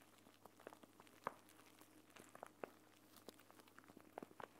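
A clear plastic eye mask pouch filled with green gel beads is held in both hands while fingertips and nails squeeze and rub it, crinkling the plastic. Quiet, irregular soft crinkles and small clicks pop up over a faint steady hiss, with a few slightly louder crackles standing out.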